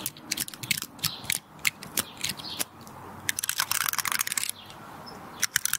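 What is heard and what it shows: Long red nails scratch and flick the woody scales of a small, solid, dry brown pinecone held in both hands close to the mic. Dense dry crackles and sharp bright clicks come in uneven bursts with no ring after them, and steady hissing scratches fill the gaps.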